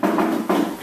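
Two taps on the metal part of a classroom desk, each giving a short ringing tone around 320 Hz that fades within about half a second. The sound shows the desk part is made of metal.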